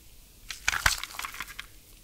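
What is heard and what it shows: A small, hollow, clear hard-plastic soundtrack CD jewel case with an insert inside is held and turned in gloved fingertips. About seven sharp, bright plastic clicks sound over soft rubbing against the shell, each dying away almost instantly.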